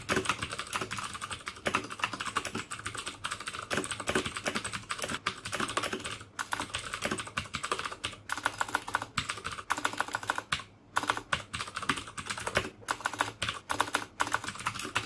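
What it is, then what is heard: Plastic mechanical keyboard with clicky switches. Fingertips type steadily on a black plastic mechanical keyboard with clicky Cherry MX Blue switches, producing a dense stream of sharp, bright clicks with very short decay and only brief pauses between bursts.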